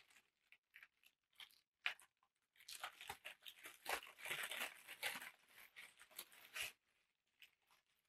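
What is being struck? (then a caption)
Thin tissue paper sheet. A large sheet of thin black packing tissue paper is lifted, crumpled and stretched out by hand. It gives bright, crisp crinkling, first in short scattered bursts and then in a dense, continuous rustle before falling quiet.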